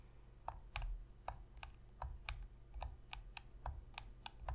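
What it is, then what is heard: Plastic game controller. Long pink fingernails tap the face and buttons of a black Sony PlayStation 3 controller, a hollow plastic controller lying on a table. Thirteen sharp, bright clicks sound at an uneven pace, each with a low, hollow knock beneath it and a quick decay.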